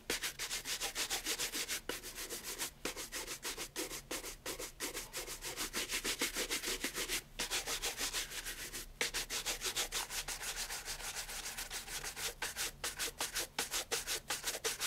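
A brown pigskin leather loafer with a wooden shoe tree inside is held in one hand and brushed vigorously with a wooden-backed horsehair brush. Quick back-and-forth strokes make a bright, dry, hissing scrub with almost no low end. The strokes repeat briskly but unevenly across the whole clip, with a few brief pauses.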